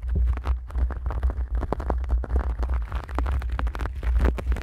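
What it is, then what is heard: Knit fabric shower glove being scratched. Bare hands with long nails rub and scratch a grey knitted polyester exfoliating shower glove pulled over a microphone. The result is a steady run of quick, dense scratchy strokes over a heavy, low, boomy rumble from the soft, hollow fabric against the mic.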